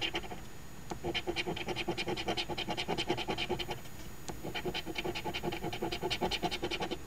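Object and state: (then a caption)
Coin scratching a lottery ticket. A coin scratches the latex coating off the number spots of a flat, thin card Ontario Lottery OLG $2 Quest For Gold instant scratch ticket (#2445), which rests on a table and is held by one hand. Quick, rasping back-and-forth strokes come in a fast, uneven rhythm with a bright, papery edge. Midway the coin is briefly lifted and the scratching drops to a quiet pause before resuming.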